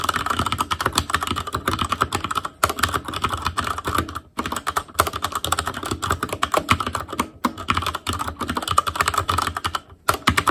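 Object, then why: Plastic mechanical keyboard. Continuous fingertip typing on a black plastic Asus Claymore Core mechanical keyboard produces a rapid, steady stream of sharp, short key clicks with a clacky midrange tone. The typing breaks for a moment at a few brief pauses before resuming at the same pace.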